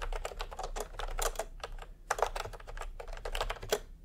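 A full-size pastel plastic retro keyboard with round typewriter-style keycaps, resting on white fabric, is typed on quickly with the bare fingertips of both hands. Rapid clicky key presses come in a dense stream of short, sharp taps with a mid-pitched, bright clatter and almost no ring. The brief gap near the two-second mark is followed by a few louder strikes.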